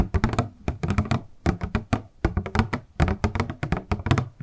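A small, hollow, transparent purple plastic packaging box with a paper insert is held in both hands and tapped and handled with long nails and fingertips. The result is a quick, irregular series of dull, hollow thunks with short clicky attacks that die away almost instantly, mostly low in tone with little brightness.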